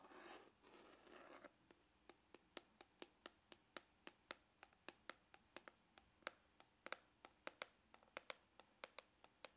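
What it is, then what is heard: Faux leather hard glasses case. Medium glitter-polished fingernails scratch and then tap a closed, hollow, hard-shell glasses case of dark brown textured faux leather with a small red rose emblem. About a second and a half of soft, hissy scratching gives way to 33 quick, dry, bright clicks that stop instantly with no ring.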